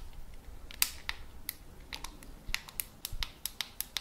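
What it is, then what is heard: Plastic walkie-talkie radio. A black plastic walkie-talkie is tapped and scratched with fingertips on its body and antenna. The result is a quiet, uneven run of short, dry, bright clicks and ticks that stop almost instantly, over a soft low rumble and faint scratching.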